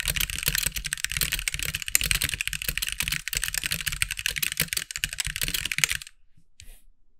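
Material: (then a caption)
Plastic. A compact backlit mechanical keyboard with white plastic keycaps is typed on with the fingertips of both hands. A rapid, dense stream of bright, sharp plastic clacks continues for about six seconds, then stops, leaving near silence with one faint, brief sound just after.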